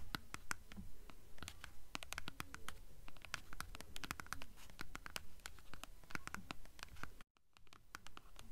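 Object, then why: Hardcover book spine with paper dust jacket. Long nails scratch rapidly up and down the spine of an upright blue hardcover book with a paper dust jacket. Quick, dry, bright scratching strokes repeat in a fairly steady rhythm over a low background rumble. There is a brief silent break just past the seven-second mark.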